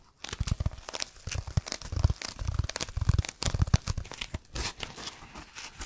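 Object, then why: Foam block. A dark speckled, roughly brick-sized solid foam block is held in both hands and rapidly scratched and squeezed with fingertips and nails. It produces a fast, dense stream of dry scratching and crinkling, like tearing, with soft low thumps under bright, hissy scrapes. The bursts are short and clipped, with no ring after each one.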